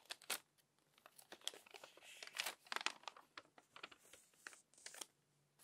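Long-nailed fingers flip the wrinkled pages of a crumpled paper magazine. Quiet, bright crinkles and crackling rustles come in quick bursts, with sharper snaps as pages turn. The sound is dry, with no ring between bursts.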